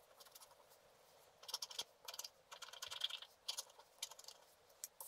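A wooden stylus scratches across a black-coated scratch art card lying flat, making quick, dry, bright scraping strokes in irregular bursts. The sound is quiet and almost entirely high-pitched, with very little low end and no ringing after each stroke.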